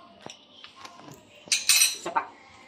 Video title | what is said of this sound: MOTHER'S DAY | kasi ang lutong niya, ramdam niyo po. Rinig niyo, ang lutong.